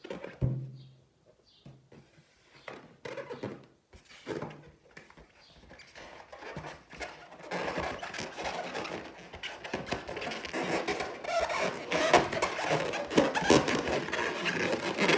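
Long teal nails scratch across the surface of a large, hollow, inflated clear latex balloon printed with gold pineapples. It starts with sparse, separate scrapes and soft thumps, then turns into dense, continuous squeaky scratching from about halfway through. The scratching is louder and fuller across the low-mid to high range.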